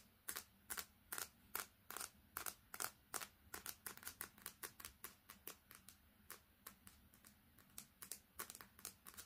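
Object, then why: Smartphone with glass screen and metal edge. Long red fingernails tap quickly on the glass screen and metal edge of a smartphone with a metal back, held horizontally. About 35 sharp, bright clicking taps come in a fast, uneven rhythm, each dying away almost instantly over a faint low hum.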